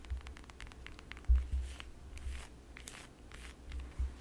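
Long yellow acrylic nails tap and scratch the peel of a whole, solid fresh lemon held in the hands. Quick, light clicks and brief scratchy rasps sit over a steady low hum, with a few stronger taps standing out.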